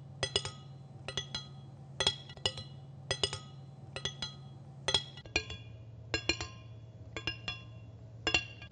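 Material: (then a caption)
Steel. Long dark-painted fingernails tap and scratch a large, solid, flat steel kitchen knife blade held close to the microphone. Bright, short metallic clicks ring out in quick pairs and small clusters, with a clear tone near 3.3 kHz, over a steady low hum.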